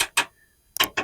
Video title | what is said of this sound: Your Classic Car's Rust Is Lying to You — Here's What It's Hiding | See how it resonates when you tap on it?